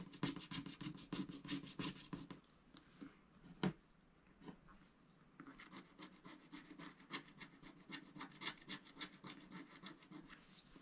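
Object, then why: Coated scratch-art paper sheet scratched with a wooden stylus. A thin pointed wooden stylus scratches the black coating of a flat scratch-art paper sticker sheet with giraffe and rhino animal stickers, held by the other hand as it lies on a grey board beside an unused paintbrush. Quick, dry, rasping strokes come in bright bursts, fade to a near-pause with one sharp tick in the middle, then resume as a steady run of fine scratches to the end.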